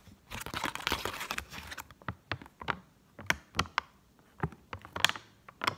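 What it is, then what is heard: Paper banknote. Long acrylic nails quickly tap and scratch along the surface of a single Egyptian 10-pound paper banknote held up in the air, with other folded notes lying untouched on the table. A dense, dry, crinkly scratching fills the first two seconds, then gives way to sharp, bright paper taps and short scrapes separated by brief quiet gaps. Each tap dies away almost instantly.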